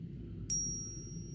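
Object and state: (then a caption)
Genuine silver coin ringing true. A silver coin is struck once, giving a single bright, high-pitched bell-like ding with a clear tone that keeps ringing to the end of the clip over a low background rumble. The clear ring shows the silver is real.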